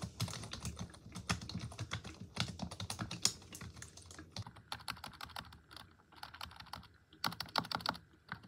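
Long acrylic nails and fingertips type on a black plastic computer keyboard, producing a fast, uneven run of sharp, bright key taps with short pauses between bursts. Each tap is crisp and dies away almost instantly, with a light low thud under the clicks.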